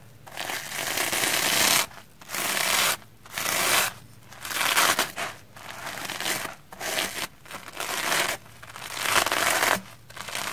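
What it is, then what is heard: Soapy plastic foam sponge being brushed. A round hair brush with black bristles and a wooden handle is brushed across a red porous plastic foam sponge block covered in soap lather. The result is a series of bright, hissy, crackling brushing strokes with short pauses between them, with almost no low end.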